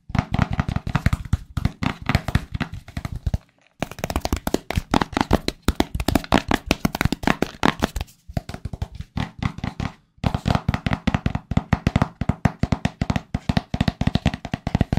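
Fingertips and nails rapidly tap and scratch the sides of a small, hollow, white printed cardboard AirPods Pro product box. The dry, hollow taps are low and thumpy with almost no ring, coming in quick bursts broken by short pauses.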